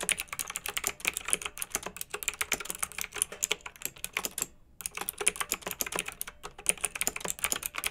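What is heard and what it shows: Both hands with long red nails type with their fingertips on a pink mechanical keyboard with round retro plastic keycaps, blue backlight and a hollow plastic case. A steady run of bright, sharp clicks and clacks follows, each dying away almost instantly, with a brief pause just before the 5-second mark before the typing resumes.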